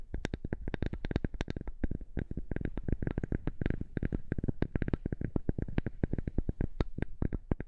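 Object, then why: Thin flat wooden strip. A flat, thin, light wooden strip is held in both hands in front of a microphone and tapped and scratched with long nails. It makes a fast, steady run of short, dry, dull taps with a low, thumpy body and a faint bright click on top, each dying away almost instantly.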